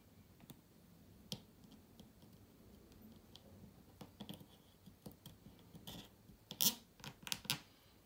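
A toothpick is worked by hand along the vent slot and screw holes on the underside of a closed, white-cased laptop. Quiet, bright, irregular scrapes and sharp little clicks sound over a faint hiss. The clicks grow louder and closer together toward the end.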